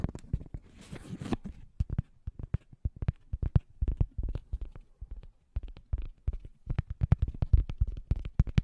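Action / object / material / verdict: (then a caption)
scrape / cork coaster scratched by fingernails / cork / none. Fingernails scratch and tap across the surface of a thin, solid, round scalloped cork coaster held right next to the microphone. The result is a quick, irregular run of dozens of dull, low, muffled ticks and scrapes, with a brief rougher, hissing scratch near the start and no ring after each stroke.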